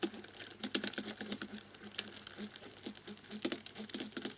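A cotton swab rubs along the key edges of a black plastic laptop keyboard, moving across different rows. It produces a rapid, uneven patter of light, bright key clicks with a soft scraping hiss between them. Each click dies away almost instantly.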